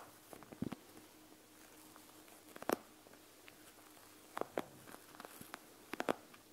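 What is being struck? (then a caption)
Plastic gel bead eye mask. Fingertips and long nails press and tap across the whole surface of a panda gel bead eye mask with a plastic shell and gel beads. About eleven quiet, dry plastic taps and clicks arrive in small clusters, each dying away almost instantly. A faint steady hum sits underneath.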